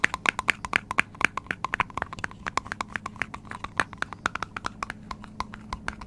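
Fingertips and nails tap quickly on the top of the hollow green plastic cap of a medium metal aerosol spray can, which is held in one hand close to the microphone. A rapid, uneven run of short, dry, clicky taps sounds, each with a hollow mid-high pitch and a bright edge, stopping instantly with no ring.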